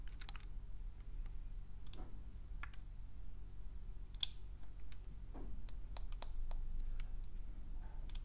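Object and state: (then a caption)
Plastic spray bottle, hollow and empty. A round, medium-size, pink translucent plastic spray bottle with a trigger head, hollow and apparently empty, is held in one hand and tapped on its round body with fingernails. Short, sharp, bright clicks come in an irregular pattern and die away almost instantly, over a steady low background hum.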